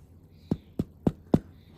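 Four soft, dull taps on low protein bread rolls just out of the air fryer give a short hollow thump, low in pitch and dying away almost at once. The hollow sound shows the rolls are baked through, with a little colour on top.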